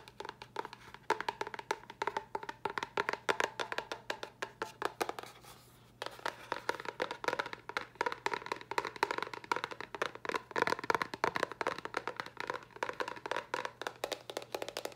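Long nails and fingertips tap rapidly on a small, hollow white cardboard box with a red top, making quick, dry, clicky taps with a hollow mid-range tone around 950 Hz and almost no ring. The tapping runs steadily, stops for a brief pause near the six-second mark, then continues at the same fast pace to the end.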